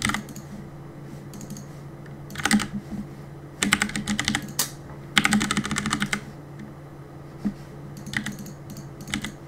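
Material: Plastic.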